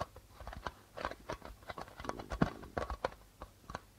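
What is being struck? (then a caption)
Darbuka drum with plastic head. Fingertips and nails tap rapidly on the white plastic membrane of a hollow darbuka drum. The result is an irregular run of about seventeen short, dry taps, each a soft low thump with a bright click on top that dies away almost instantly.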